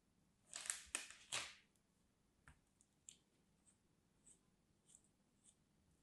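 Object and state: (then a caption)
Kinetic sand figure being cut and crumbled. A pointed craft knife blade scrapes and cuts into a small molded, solid teal kinetic sand teddy bear figure held in the palm, crumbling it. Three loud, bright, crisp scraping crunches come close together at the start. They are followed by a series of faint, sparse crackles and ticks as the sand breaks apart.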